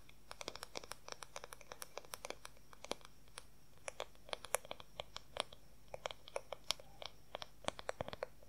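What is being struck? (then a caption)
Wooden paddle hair brush back. Long fingernails rapidly tap and scratch the large oval wooden back of a paddle hair brush. The result is a quiet, irregular stream of short, dry clicks with a woody tone around 550 Hz and bright, crisp edges. Each click stops instantly, with soft scratching between the taps.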